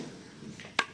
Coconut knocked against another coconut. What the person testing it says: Itu suaranya kelapa bagus sama kelapa bagus.